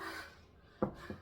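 A knock on a plaster surface made to look like wood gives one dull, short thud with a brief rubbing scrape and almost no ring. It turns out to be plaster, not real wood.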